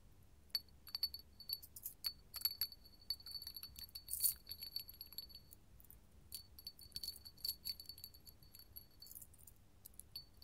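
A small, clear, hollow hobnail glass candle holder is held in the hand, then set on a table, and tapped with long gold metal finger claws. The result is a quiet stream of quick, bright glassy clicks and clinks with a faint high ringing tone that dies away almost at once.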